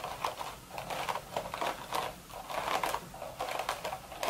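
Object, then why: Woven straw hat crown. Long red nail tips tap the crown of a cream woven straw sun hat in quick clicking bursts. The sound is dry and crisp, with a bright, papery click around 1 kHz and very little low end.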